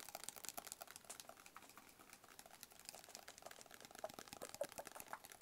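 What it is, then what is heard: Cardboard box tapped with fingertips and nails. A small, hollow, rigid black cardboard box, held close, is tapped rapidly with fingertips and nails. The result is a quiet stream of short, dry, bright clicks with almost no low end, each dying away almost instantly.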